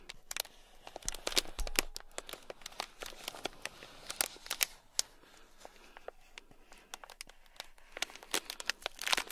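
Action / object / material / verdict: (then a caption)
scrape / sealed plastic bag filled with small beads / plastic / none. A full, small sealed clear plastic bag packed with tiny gold beads is scratched with a thin black stick. It gives a steady run of dry, bright crinkling and clicking scratches with quick, crisp transients that stop almost instantly, and a brief quieter stretch midway.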